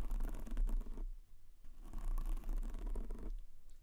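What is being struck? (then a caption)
Foam microphone windscreen. Fingertips tap quickly, like typing, on a white foam windscreen covering a black microphone. Two bursts of rapid, muffled patter carry a deep, boomy low thump, separated by a brief quieter pause before the tapping resumes and then fades.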